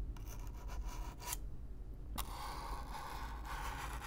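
A stiff black-bristle brush is brushed across the surface of a hollow, brown corrugated cardboard box, close up. Bright, raspy scratching strokes come first, then a brief quieter pause, then a sharp scrape that leads into steady, continuous brushing with a low rumbling undertone.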